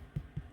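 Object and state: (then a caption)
Hollow-sounding baked bread loaf (done). A homemade bread loaf, baked about 25 minutes at 180°C, is tapped twice, giving two short, low, hollow thuds centered near 140 Hz with almost no ring. The hollow sound shows the bread is done.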